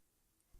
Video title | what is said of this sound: (Walgreens Exclusive) Marvel Legends Fantastic Four: Human Torch Review | just tapping it right here it's very hollow